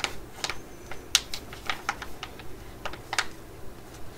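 A laminated plastic pouch with a tub of mugwort pads inside, held in the hands, is tapped and scratched with long nails. Sharp, bright clicking taps ring out in an irregular rhythm over a faint crinkly hiss, each tap dying away almost at once.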